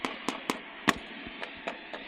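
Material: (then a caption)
Bread. A bread roll is tapped several times, giving short, dull knocks that die away almost at once. The taps lack a hollow sound, showing this roll is not baked through, unlike the others.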